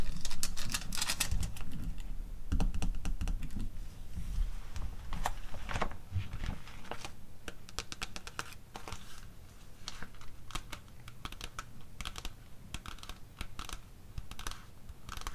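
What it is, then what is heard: Paper catalog tapped with nails. Long acrylic nails tap and scratch the glossy cover of a closed, thin and solid O Boticário paper catalog, then tap along its bound spine edge. The result is a rapid, uneven stream of crisp, bright clicks over a soft low rumble, louder at first and then quieter and steadier.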